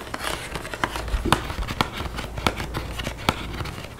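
Long painted fingernails tap and scratch a flat, printed cardboard chocolate bar box sleeve up close. Sharp, dry clicks punctuate a steady scratchy rustle, and each tap dies away almost instantly.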